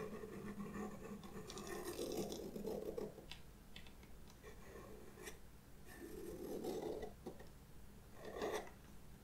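A white pastel pencil with a red barrel, held in fingers with long red nails, scratches lines onto the black paper of a spiral-bound sketchbook page. Soft, dry scratching strokes swell and fade in uneven bursts, centered in the low-mid range with a steady low hum underneath.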